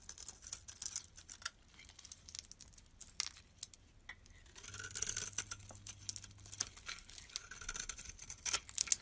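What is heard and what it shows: A utility knife blade scrapes crumbly flakes off a yellow rectangular bar of solid soap held in the hand. The scraping comes as a quick run of dry, bright, crinkly strokes, quiet overall, with a faint low hum underneath through the middle and the loudest strokes near the end.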